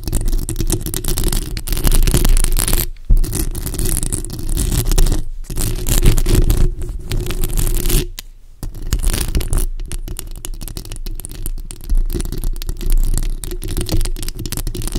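Long acrylic nails scratch the top and sides of a bare black microphone's hollow metal mesh grille, producing a dense, boomy scraping rumble heavy in the low end. The scratching runs almost continuously, with brief near-silent gaps where one hand lifts away before the scraping resumes.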